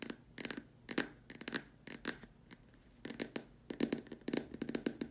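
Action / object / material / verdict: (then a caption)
tap / plastic dome lamp shade / plastic / none. Long dark nails tap quickly across the upper surface and sides of a large hollow white plastic dome lamp shade. The result is a run of short, dry clicks in irregular bursts, each with a bright edge and a brief hollow plastic tone around 230 Hz that dies almost at once.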